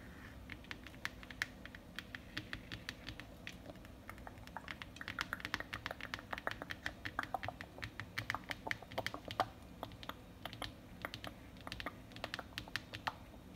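Fingertips and long painted nails tap and scratch rapidly across a large, flat printed paper world map lying on a hard desk surface, laid flat rather than hollow. The result is a fast, irregular stream of short, dry papery clicks and scratches, bright and crisp, over a quiet, steady low background hum.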